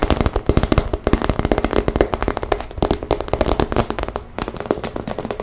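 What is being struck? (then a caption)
Clear PVC vinyl cosmetic pouch. A pink transparent PVC makeup pouch, a clear vinyl cosmetic bag, rests on a table and is squeezed and tapped with long nails and fingertips. The result is a fast, dense run of short, crisp plastic taps and crinkles with a faint tone around 410 Hz and almost no ring between strikes.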